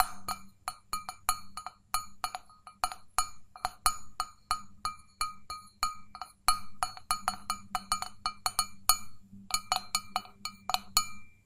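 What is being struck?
Stainless steel mug.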